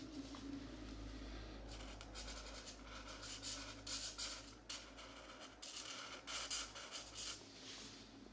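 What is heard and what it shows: A marker scratches colouring strokes onto the thin paper page of an open coloring book lying flat on a desk mat, with brief pauses as the page is adjusted by hand. The strokes come as bright, raspy bursts of scratching over a steady low hum.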